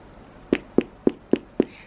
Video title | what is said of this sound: CHANEL REISSUE REVIEW, WEAR & TEAR AFTER 10 YEARS!! | if I knock on this you can hear it there's a difference can you hear that so this part is actually quite hard